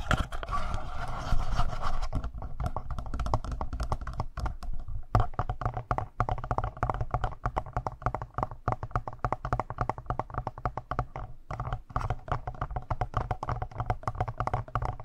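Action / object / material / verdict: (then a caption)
tap / plastic handheld audio recorder body / plastic / none. Fingertips with short nails rapidly tap and scratch the lower front panel and buttons of a hand-sized, hollow black plastic Tascam portable recorder with two metal-mesh mic capsules on top. The recorder picks up its own body being touched, so the sound is close handling noise: dense, irregular hollow taps with deep, boomy low thuds and short scratchy rustles.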